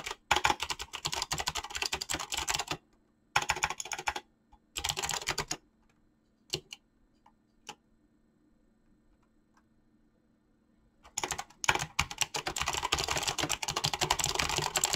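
Fingertips type fast on a mechanical keyboard with clicky switches and PBT plastic keycaps, giving dense bursts of bright, sharp clicks. The bursts break off into pauses with only a few scattered keystrokes and a faint low hum underneath, then the rapid typing picks up again.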